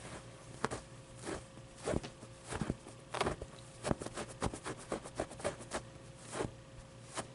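Fingertips and nails scratch and tap the plush fabric and fuzzy pit of a medium, soft stuffed avocado plushie. About eleven soft, irregular, short scratchy taps stand out over a faint steady low hum, with quieter rustling in between.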